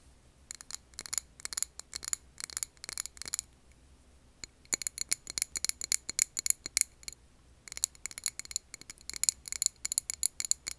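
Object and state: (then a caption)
Glass candle jar. Long nails tap and scratch a medium glass candle jar filled with solid green wax and wrapped with a label. Rapid bursts of crisp, bright clicks with almost no ring are separated by short pauses.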